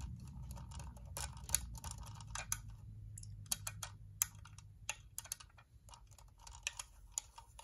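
Fingernails and fingertips tap rapidly on the top and front edge of a white, hollow plastic UV nail lamp dome. The taps are sharp, bright plastic clicks that stop almost instantly, arriving in quick irregular bursts over a low, steady hum.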